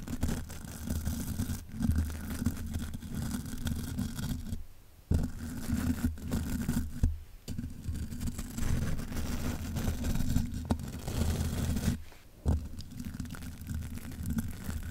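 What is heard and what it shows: A spoolie brush held in the fingers brushes and scratches the hollow mesh grille of a large black metal microphone. The result is a continuous, dense, scratchy rumble concentrated in the low end, with brief quiet gaps around 4.5 to 5 and 12 to 12.5 seconds.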